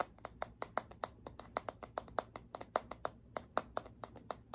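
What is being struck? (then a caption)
Plastic paddle hairbrush. Long fingernails tap and scratch the smooth, hollow back of a handheld black plastic paddle hairbrush with bristles. About 23 quick, dry, hollow clicks ring out in an uneven rhythm, each dying away almost at once. Faint scratching and low background hum fill the gaps.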